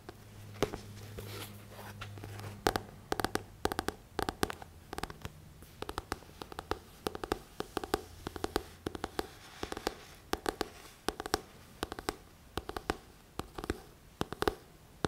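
Fingertips and short nails scratch and tap the glossy back cover of a thick paperback book. Crisp, dry taps with almost no ring are scattered over soft, papery scratching, with a faint low hum under the first half.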